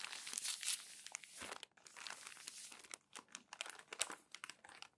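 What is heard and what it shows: Crumpled glossy magazine pages on a stack are rubbed and pressed with a flat palm and turned with the fingers. Dense, bright crinkling and crackling fills the first second and a half, then gives way to quieter rustling broken by sharp, quick crackles. The sound is high and papery, with almost no low end.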